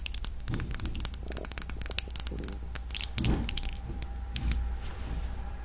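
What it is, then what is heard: Glass perfume bottle. A red, palm-sized Modern Muse glass perfume bottle, filled with liquid and capped with gold metal, is tapped and scratched with long nails. Rapid, bright clicks and ticks sound over a steady low hum. Brief scratchy rasps come in between the taps.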